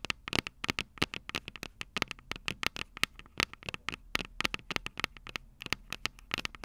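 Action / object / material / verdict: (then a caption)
tap / small metal microphone capsules on a handheld recorder / metal / none. Long purple nails rapidly scratch and tap the small, hollow, silver metal microphone capsules of a Tascam DR-05 recorder. About forty sharp, bright clicks with no ring sound in quick, irregular bursts over soft scratching. The capsules give a crisp, crackly texture centred around 2.7 kHz.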